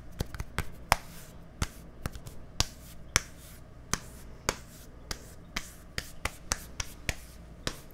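Fingertips and nails tap quickly on a small, hollow, white plastic deodorant stick with a green cap, held at the microphone. About 18 sharp, dry clicks ring out at uneven intervals, each bright and decaying almost instantly over a faint low background rumble.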